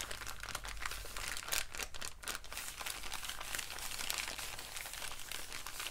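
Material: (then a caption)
Paper. An empty, folded brown kraft paper bag is squeezed, crumpled and rubbed between both hands. Dense, continuous bright crinkling and crackling runs through the whole clip over a low steady hum, with no pauses between the rustles.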